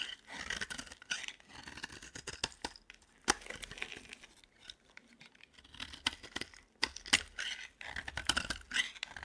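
A metal blade repeatedly scrapes and carves shavings from the corner of a solid, cream-coloured dry bar of soap held in the hand. A rapid run of dry, bright, crisp scrapes and short shaving strokes is punctuated by sharp clicks, with almost no low end and no ringing after each stroke.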